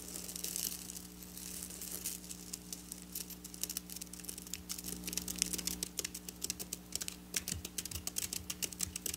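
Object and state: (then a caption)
Sequin fabric being scratched. Long black nails scratch and pick at flat silver sequin fabric lying on a table. The sound is a dense run of bright, crisp ticks and rustling scrapes that grows sharper and more separated toward the end. A steady low hum sits underneath throughout.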